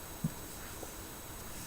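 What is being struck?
Nothing is struck.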